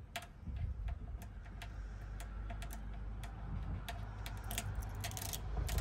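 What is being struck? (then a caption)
Chrome-framed metal car badge on a grille. A single long acrylic fingernail taps and scratches the face and edge of a small chrome-framed Rolls-Royce emblem plate mounted on the metal grille of a pink Rolls-Royce Cullinan. Quick, sharp, bright clicks and short scrapes come in an irregular run over a steady low rumble that swells slightly toward the end.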